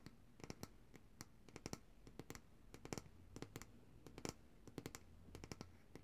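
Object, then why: Glass jar filled with solid coconut oil. Long dark-painted nails tap and scratch the glass sides of a large glass jar of coconut oil with a paper label, full of white solid oil, held upright in both hands. A quick, irregular run of sharp, dry clicks with bright tops dies away almost instantly. Faint scratchy rubbing and a low hum sit underneath.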